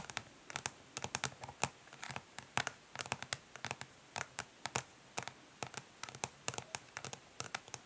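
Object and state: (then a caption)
Plastic makeup palette. Long nails of both hands tap fast on a flat, rectangular, hollow plastic eyeshadow palette lying face down on a grey surface, mixed with short scratches. The result is a quick, uneven stream of crisp, bright clicks that die away almost instantly, with very little low end.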